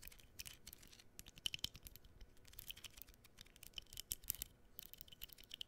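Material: Cardboard.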